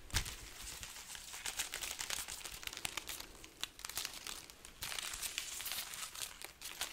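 A hanging string of dried red chili peppers with a price tag is held up, then rubbed, squeezed and lightly shaken with the fingertips close to the microphone. The dry, hollow pods give a steady, bright crinkling and crackling with many quick rustling ticks. The sound grows denser and hissier partway through.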